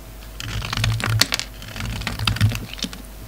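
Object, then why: Bar of soap cut with a knife blade. A utility knife blade carves a hand-held solid lavender soap bar, making a run of quick, crisp scraping clicks with a bright, dry edge. The cuts are short and closely spaced over a steady low hum, with no ring after each one.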